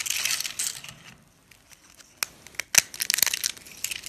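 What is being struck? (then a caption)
Soap shavings. Fingers grab, bend and crush a pile of wide, thin pink dry soap shavings so they snap and crumble. A dense, bright crunching opens the clip, fades to near silence, then sharp dry snaps break out and give way to rapid crackling.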